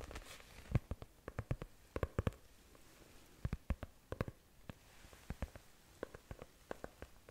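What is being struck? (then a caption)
Faux leather notebook cover. Long nails of both hands tap and scratch the cover of a closed brown faux leather notebook held horizontally. A quiet, irregular series of short, dry taps with a low thudding body dies away almost instantly, over a faint scratchy hiss.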